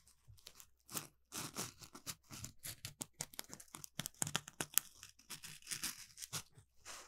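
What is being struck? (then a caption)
Polymer foam scrub sponge. An orange smiley-face Scrub Daddy sponge made of palm-sized textured polymer foam is held in both hands and scratched with the fingertips and nails on its rough surface. The result is a quiet run of dry, bright scratching and rasping strokes with a tearing, crinkly texture and almost no low end.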